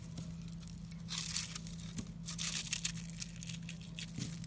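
A utility knife scrapes and cuts a solid, porous, airy pink foamy bar soap held in a hand with red nails, breaking it into crumbly chunks. Bursts of bright, crisp crackling and crunching rise and fall over a steady low hum.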